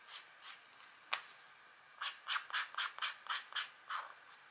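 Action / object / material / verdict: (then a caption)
scrape / black-coated scratch art paper sheet / coated paper / none. The pointed tip of a green stylus scratches a thin, flat scratch art sheet (black coating over a metallic layer) bearing a deer drawing, while a long-nailed hand holds the sheet. Two soft, bright scratching strokes and a sharp tick are followed by a quick, fairly regular run of short, hissy scratches.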